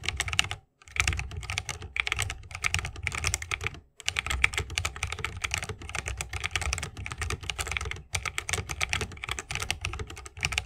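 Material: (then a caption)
Plastic, bamboo. Fingertips of both hands type continuously on a 60% mechanical keyboard with plastic keycaps and Holy Panda tactile switches in a bamboo wooden case. Dense, bright, dry clacks run on with a soft low thock underneath, broken by short pauses near the first and fourth seconds.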